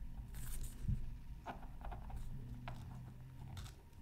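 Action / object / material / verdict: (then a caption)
scrape / black-coated scratch art card scraped with a bamboo stylus / coated paper / none. A bamboo stylus tip scratches across a flat black-coated scratch art card resting on a mat. The result is a series of short, dry scratching strokes with faint bright edges over a steady low hum, all at a quiet, close level.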